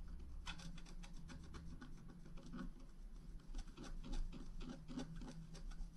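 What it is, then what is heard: Scratch art paper being scratched. A pointed wooden stylus scratches across a flat black-coated scratch art card, about A4 in size, lying on a table and held by one hand, revealing the rainbow layer beneath. A rapid series of short, dry rasping strokes sounds over a low, steady hum.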